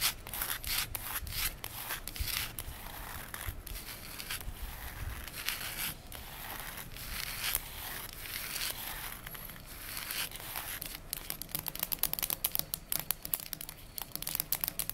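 Very long fingernail tips tap and scratch across a solid, polished reddish-brown wooden tabletop. The clip is a steady stream of soft scraping and rubbing textures broken by many quick, dry clicks, with no ring after each tap. The clicking grows busier toward the end.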